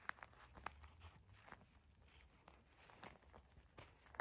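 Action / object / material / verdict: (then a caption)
tap / gel bead eye mask with a plastic shell / plastic, gel / none. Long acrylic nails tap and scratch across a flat, soft purple eye mask lying on a table, its clear plastic or vinyl shell filled with small gel beads. The clip is quiet, with sharp, clicky taps that stop instantly, separated by soft, crinkly scratching over the bead-filled surface.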